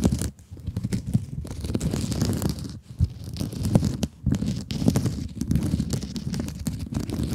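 Long acrylic nails scratch across the woven mesh scrub surface of a rectangular blue sponge held in both hands. The result is a dense, rough, crackly scratching sound that is mostly low and muffled, broken by a few short pauses.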